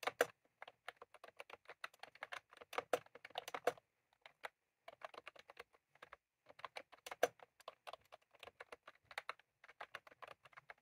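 Fingertips of both hands type on a white/cream plastic retro computer keyboard with round typewriter-style keycaps, resting on a desk. Rapid bursts of short, crisp, dry clicks with little low end, paused briefly around 4 and 6 seconds before the typing resumes.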